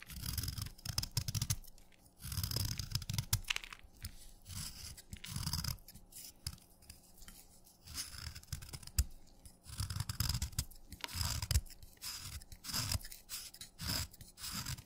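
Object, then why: Chalk stick scraped by steel knife blade. A steel knife blade scrapes a solid wet red chalk stick held against a thumb, shaving it into crumbly red curls. Repeated gritty scraping strokes come in short bursts, each with a bright, rasping hiss over a soft low rumble, separated by brief quiet pauses.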